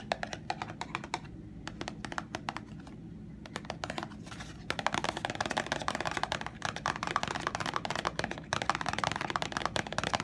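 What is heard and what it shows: Long nails and fingertips tap and scratch the flat sides of a small, hollow printed cardboard box of Sheer bandages. The result is a dense run of quick, dry clicks and bright scratchy rustles with almost no ring. A sparse opening gives way to a busier, louder stretch of rapid tapping after about five seconds.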